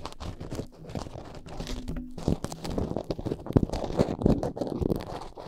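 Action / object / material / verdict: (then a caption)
scrape / foam microphone windscreen / foam / none. Long painted nails scratch and tap on top of two black foam windscreens fitted on upright microphones. The result is a dense, continuous stream of soft, muffled crunching and crinkling with quick thumps, heavy in low tones and with very little brightness.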